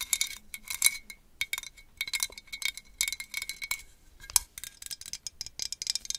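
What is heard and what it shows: Long acrylic nails tap rapidly on a small hollow glazed orange ceramic jack-o'-lantern with a cut-out face, held close to the mic. The taps come in quick bursts of bright, sharp clicks that stop almost instantly, with a faint ring around 2 kHz and almost no low end.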